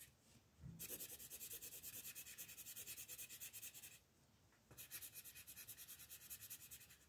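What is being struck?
Colored pencil on a paper coloring page.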